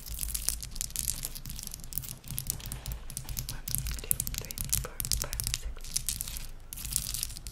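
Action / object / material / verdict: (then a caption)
tap / ice cubes tapped and scratched with fingernails / ice / none. A row of small solid ice cubes resting on a white towel is tapped and scratched quickly with the long pink acrylic nails of both hands. The result is a dense, continuous stream of crisp clicks and scratchy, crackling friction with bright high-frequency detail over a steady low hum, with only a brief dip near the middle.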